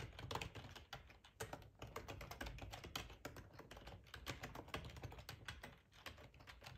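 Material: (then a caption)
Plastic. Fingertips type steadily on the keys of a black plastic ergonomic split keyboard with a hollow housing, resting on a cloth tablecloth. Rapid, uneven clicks and clacks overlap, each with a bright snap and a soft low thud from the hollow body. Every keystroke dies away almost at once.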